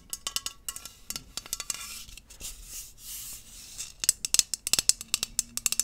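A tall green aluminium aerosol hairspray can, hollow and pressurized, is held upright in one hand and tapped along its body with long acrylic nails. About two dozen quick, bright, clicky taps fall at an uneven pace, each dying almost instantly. A softer, hissy scraping stretch in the middle gives way to a denser flurry of sharper taps at the end.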